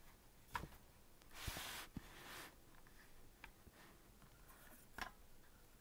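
Fingertips tap and press the white and black plastic keys of a green plastic melodica lying on a white table, its hollow body not being blown. Short, sharp clicks with a hollow knock come through, along with a soft brushing swish between taps.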